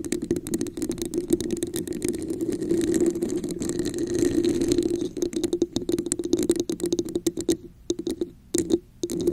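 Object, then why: Textured plastic cup. Long nails scratch the top and sides of a red, hollow, textured plastic cup placed over a microphone. A dense stream of rapid, rasping clicks rides on a steady hollow resonance near 340 Hz. The scratching thins into brief pauses toward the end.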